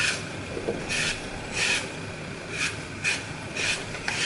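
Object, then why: Glitter-coated floral foam block. A solid green floral foam block with a glitter Mickey picture is held in the hand while fingertips and thumb crush and break away its edges, crumbling the foam onto a pile of fragments. Repeated bright, crisp crunching and rasping bursts rise over a steady soft hiss.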